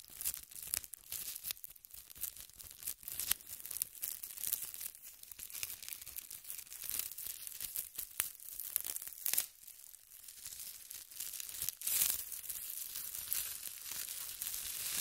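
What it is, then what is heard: Thin plastic bag being scratched and crinkled. A large, thin, empty transparent plastic bag stretched over a tripod microphone is scratched with long red nails, pulled taut and scrunched. It makes a steady stream of quiet, bright crinkling and crackling with sharp snapping bursts and almost no low end.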